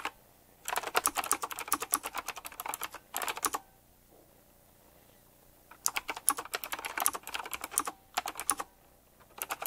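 Fingertips type quickly on a retro typewriter-style mechanical keyboard with round plastic keycaps set in chrome rings. Bursts of sharp, bright key clicks come in runs separated by short pauses. The quiet gaps carry only a low background hum.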